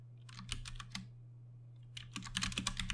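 Fingertips of both hands type slowly on a compact 60% Ducky One 2 Mini mechanical keyboard with plastic keycaps and Cherry MX Brown switches. Bright, short clacks come in a loose cluster, then a pause of about a second, then a quicker burst. A steady low hum runs underneath throughout.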